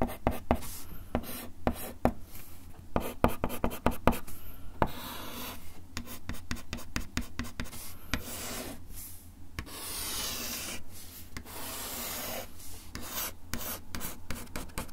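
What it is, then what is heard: Wooden desk top being scratched. A bamboo ear pick rubs and scratches across a flat, solid, brown wood-finish desk top. Quick, sharp scratchy strokes and taps come first, then longer, steady rasping scrapes in the middle, all over a constant low hum. The strokes are dry and short, with no ring after them.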